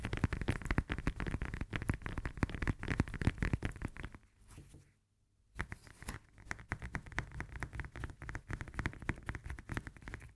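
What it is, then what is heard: Lemon tapped and scratched with nails. Long nails rapidly tap and scratch the textured peel of a whole fresh lemon held in both hands. The result is a dense, dull patter of quick, low-pitched taps with a scratchy edge. The tapping quiets and briefly stops for about a second near the middle, then resumes at the same fast pace.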